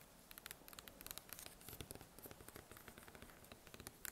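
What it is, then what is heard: Crusty bread loaf. A large round loaf of bread with a crust, one end covered in plastic wrap, is held and tapped with fingertips and red nails, then turned to show the cut end. A rapid, quiet series of crisp, dry taps and clicks mixes with light scratching and plastic rustle.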